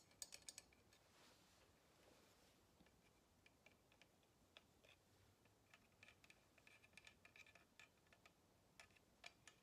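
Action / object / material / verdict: tap / kitchen tongs with wooden handles / wood / none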